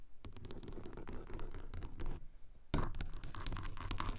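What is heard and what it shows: Long acrylic nails scratch across a car sun visor covered in grey textured fabric-like material and over its closed plastic mirror cover, with a small mic taped directly to the visor. Dense, irregular scraping strokes, mostly low and rumbly with bright streaks, pause briefly before resuming louder.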